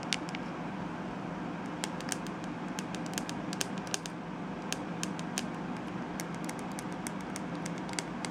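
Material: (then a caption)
Plastic. Long nails tap and scratch the curved back of a glittery, hollow plastic detangling hairbrush held up close. Scattered sharp, bright clicks cut through a steady, low rushing background, with faint scratchy texture between the taps.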